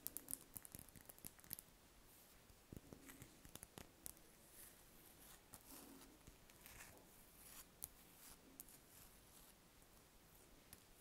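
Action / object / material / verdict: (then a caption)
scrape / spherical wax candle / wax / none. Long nails scratch and tap over a large, solid, cream-coloured spherical wax candle held in the hands. The result is a quiet, dry, bright scratching with many short clicks and crisp ticks that stop instantly.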